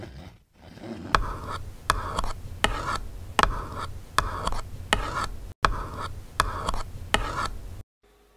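A fingertip taps the cheek and eye area of a plastic (vinyl) baby doll head, likely hollow, then both hands tap and rub the sides of the face. Short, dry, clicky taps land at a loose, steady pace over a continuous scratchy rubbing texture with a midrange tone near 1.3 kHz. The clip ends in near silence.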